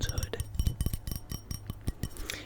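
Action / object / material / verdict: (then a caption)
tap / camera lens hood / metal / none. Fingertips tap repeatedly on the metal lens hood of a third-party lens for a Fujifilm camera, making quick, light clinking taps with a dull low thump beneath each one. The taps come in an uneven, rapid series, each dying away almost at once.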